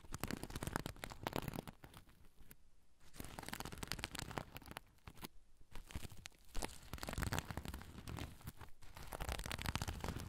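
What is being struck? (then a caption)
Fabric pouch covered in sequins. A soft oval pouch covered in sequins, with a black zipper, is held over the recorder while its underside is scratched with fingernails. The result is continuous dry, crinkly scratching with a low, rumbling body, broken by brief quieter pauses.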